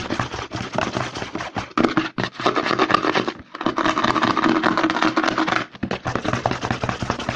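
Fingertips rapidly tap and scratch the front label of a white plastic CeraVe lotion bottle held upside down. The result is a dense, fast stream of dry clicks and scratchy rustles, mostly midrange with some brightness. Brief pauses occur around 3.5 and 5.8 seconds.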